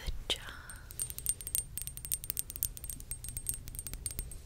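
Long acrylic nails rapidly tap a small glass serum bottle with a white dropper cap, filled with yellow oil and held up. The taps are short, bright clicks with almost no ring, over a faint steady high tone and a low background rumble.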